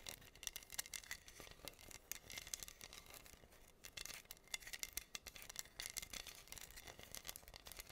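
Long nails scratch across pink acrylic rhinestones covering a flat, solid wooden heart board. The result is a quiet, bright, dense stream of rapid clicky scratches and crackles, with almost nothing in the low end.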